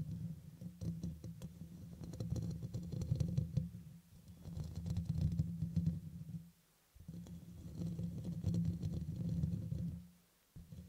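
Fingertips and medium-long nails scratch and tap across the hollow, dome-shaped black metal mesh grille on top of a red USB microphone. The result is a dense, boomy low rumble with a hum-like tone around 145 Hz, overlaid by quick scratchy clicks and faint bright ticks. It comes in long continuous bursts, with brief near-silent breaks around 7 and 10 seconds.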